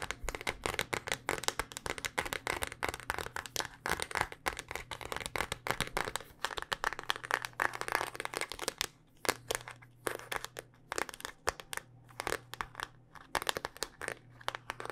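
A handheld smartphone in a solid, black rugged hard-plastic case is tapped rapidly with long dark-painted nails. The result is a dense, continuous stream of sharp, crisp clicks with a bright edge and almost no ring, over a faint steady low hum. The tapping thins into looser, more spaced clusters in the second half.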